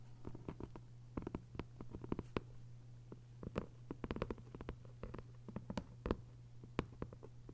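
Long nails tap and scratch the cover of a closed hardcover copy of 1Q84 lying flat in its paper dust jacket. Quick, dry, irregular taps and soft scratches come in clustered bursts with almost no ring. A steady low hum runs underneath throughout.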